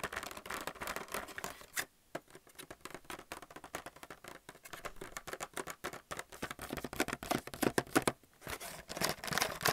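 A plastic paint palette in a blister pack, with plastic wells on a cardboard backing, is tapped and scratched with fingernails. Quick, irregular clicks and crinkly scratches run throughout, bright and dry with almost no ring, and there are brief pauses near the two-second and eight-second marks.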